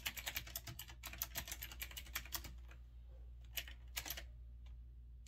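Fingertips type on a retro typewriter-style mechanical keyboard with round backlit keycaps and a metal-look frame. A quick run of bright, sharp clacks fills the first two and a half seconds, followed by a few scattered single key presses over a steady low hum.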